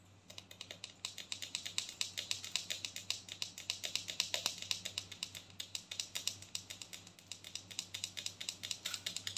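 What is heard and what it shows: Fingernails tap rapidly on the side and ridged lid of a large, filled white plastic body scrub tub. The result is a fast, steady stream of short, bright, clicky taps with almost no low end, over a faint low hum.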